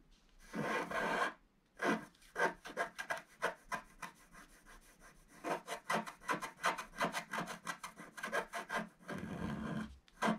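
A wooden stylus scratches back and forth along the bottom border of a flat, black-coated scratch-art sheet about A4 in size, lying solid on a table, revealing the colour underneath. A long opening scrape gives way to quick, rhythmic dry scratching strokes with a papery rasp, then another sustained scrape near the end.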